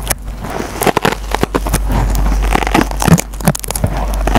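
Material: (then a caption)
Nylon, foam. A metal-tipped pencil repeatedly scratches the green nylon scouring pad on a dry foam sponge. Bursts of bright, crackling scrapes come at an uneven pace over a steady low hum.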